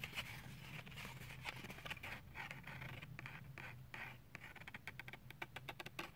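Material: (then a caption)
Plastic. Medium fingernails scratch and tap along the clear plastic shell and cardboard backing of a handheld toothbrush blister package. Quiet, dry, crackly scratching with a bright edge runs over a low steady hum, breaking into a quicker run of short, sharp taps near the end.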